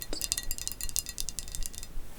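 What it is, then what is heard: Thick glass platter. A thick, solid blue glass platter is tapped in a quick series of bright, high chiming clinks. Each clink dies away almost at once.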